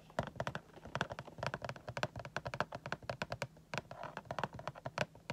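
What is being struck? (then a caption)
Clear plastic window of a cardboard box. Fingertips tap on the clear plastic window of a cardboard Funko Pop box with a vinyl figure inside. About 35 quick, dry, irregular taps sound like light clicks that stop instantly, over a faint steady low hum.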